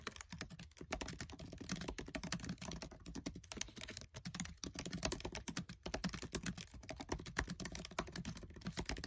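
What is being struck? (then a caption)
Plastic laptop keyboard keys. Fingertips with short nails type fast on the black plastic keys of a MacBook Air keyboard set in an aluminium body. A dense, steady stream of quick, dry key clicks pairs a soft low thud with a bright tick, each dying away almost instantly. The pace runs continuously with only brief dips.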